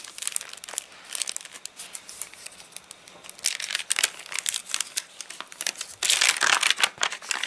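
Both flat hands rub and scratch across the crinkly pages of an open, rain-warped, rain-dried paper catalogue, making dry, bright crinkling and rustling in uneven bursts. Near the end, fingers lift a page, bringing a louder, denser crackle before it quiets again.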